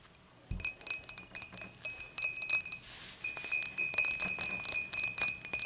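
Long matte dark nails tap and scratch the wall of a clear, dimpled glass beer mug with a handle, hollow and empty, tilted and held in both hands. Quick, uneven, bright clinks sound with a faint glassy ring near 2.5 kHz, broken about midway by a short scratching hiss. Each tap decays fast and stays high and thin with almost no low end.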